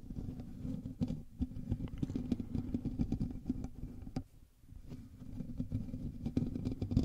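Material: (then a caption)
Metal mesh. Fingertips and nails of both hands scratch the hollow metal mesh grille of a black USB microphone, producing a dense, low, rumbling scrape scattered with sharp ticks and clicks. The scratching dips to near silence for about half a second past the midpoint, then builds back up.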